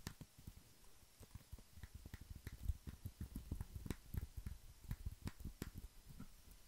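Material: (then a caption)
Plastic. A compact, hollow black plastic wireless keyboard is held up near the mic while fingertips press and tap its keys. The result is a steady run of soft, dull, low clicks and thumps that die away almost instantly, with a little brighter tick on some presses.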